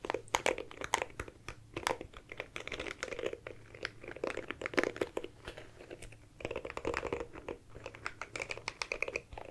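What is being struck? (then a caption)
Plastic compact hairbrush. A small oval dark plastic compact hairbrush, held in one hand, has its plastic bristles and body scratched rapidly with long nails. The result is a dense run of fast, dry clicks and crackles, like typing, with bright, short ticks and a slight low hum underneath.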